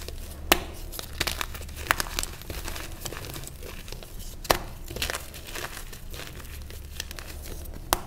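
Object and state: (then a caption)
Reformed gym chalk block being crushed. A solid, palm-sized block of purple reformed gym chalk is held and broken, and the pieces are crumbled between bare fingers and thumbs over a tray of loose purple chalk powder. The result is a dry, continuous crinkling crunch broken by a few sharp, bright snaps that die away almost instantly.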